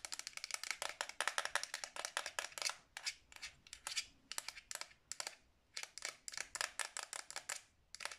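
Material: Hard plastic.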